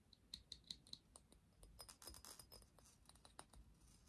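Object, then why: Small glass perfume bottle with metal cap. A small clear glass perfume bottle with a metal cap, partly filled with liquid, is held in both hands and tapped and scratched with the fingertips and nails, including around the cap. Four quiet, distinct taps each ring with a brief high glassy tone, followed by softer, bright scratching and light clicking.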